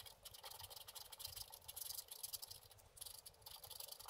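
A wooden scratch stylus held in the fingers scrapes away the black wax coating of a book-page-sized scratch-art board, which has a printed colour layer beneath and lies flat on a table. The result is a quiet, bright, hissy run of rapid short scratching strokes with little low end, dipping briefly just before the three-second mark before continuing.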